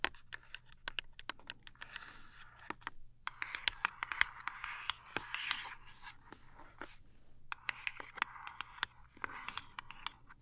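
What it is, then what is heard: Cardboard toothpaste box. A small cardboard toothpaste box, held upright, is tapped rapidly with long nails. The result is a quick run of sharp, dry clicks over a bright, hissing scratchy texture. Each tap is very short, with almost no ring.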